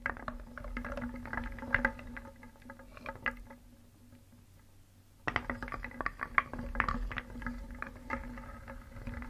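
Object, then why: Small wooden toy pieces in a wooden bowl. A hand stirs many small solid painted wooden pieces in a round wooden bowl with a wooden spoon, so they knock and rub together in a dense stream of short, dry clicks and clacks. The stirring pauses briefly in the middle, leaving a faint low hum, then resumes with sharper knocks.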